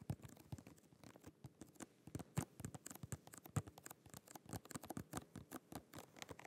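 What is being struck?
Small cardboard and plastic package.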